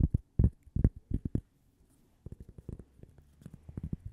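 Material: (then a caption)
Cork. Long painted nails tap and scratch the surface and edge of a small, flat, solid, toast-shaped cork coaster held close to the microphone. Dull, low, muffled taps come in quick bursts, loud at first, then a brief pause, then softer, quicker tapping with faint scratching.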